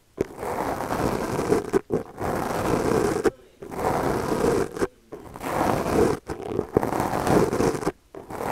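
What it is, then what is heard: Foam microphone windscreen brushed. The bristles of a small purple plastic brush are stroked across the top of a black foam windscreen on a microphone, which is held in the other hand. Six long, dense, scratchy crackling strokes are heard, separated by brief silences, with most of the energy in the low mids around 500 Hz.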